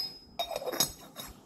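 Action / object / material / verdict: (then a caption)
tap / Yixing clay teapot / Yixing clay / good clay. An old-clay Yixing teapot of 320 ml, made in 1968 at Handicraft Factory No. 1, is clinked four times. Each tap gives a clear, bright, metallic ring that fades quickly, a sign of excellent clay.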